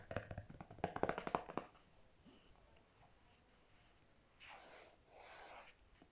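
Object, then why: Squeezable plastic tube. Natural fingernails tap and scratch a single pink squeezable plastic tube of Marc Anthony Grow Long conditioner with a clear cap, about 20 cm long and apparently full, lying on a grey fabric surface. A quick, uneven run of dry, short taps fills the first second and a half, then after a quiet pause come two soft, breathy scratching swells. The sound is quiet and mid-toned.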